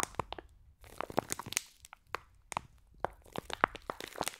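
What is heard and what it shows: Long nails squeeze and scratch a clear plastic pack of green foam bead slime held above the mics. It gives a rapid, uneven series of sharp, dry crunches and crinkling crackles, each very short with almost no ring, separated by quiet gaps and faint rustling.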